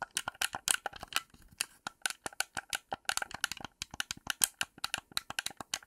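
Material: Plastic.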